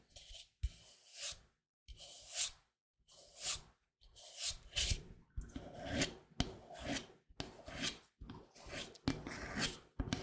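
A large, hollow white plastic Cetaphil moisturizing cream tub with a blue label is held in the hands and tapped and scratched with fingertips and nails close to the microphone. Bursts of dry, rasping scratches with bright, hissy highs alternate with short, dull taps and brief silent gaps. Each sound dies away almost at once.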